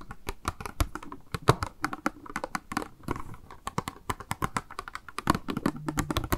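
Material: Plastic.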